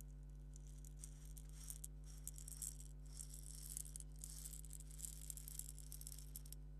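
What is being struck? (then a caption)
Small plastic egg shaker filled with fine grains. A small purple hollow plastic egg shaker filled with salt or sand is held in one hand and shaken and turned with the fingertips. Its grains make a soft, bright, crisp rattling and shuffling in quick uneven bursts over a steady low hum.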